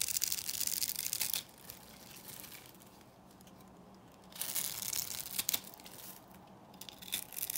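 A metal blade cuts and scrapes cubes off a solid, dry, beige rectangular bar of Korean soap that has been scored into cubes. The result is bright, crisp, dry crunching and scraping in two loud bursts at the start and middle, separated by a quieter stretch of soft scraping, with a shorter burst near the end.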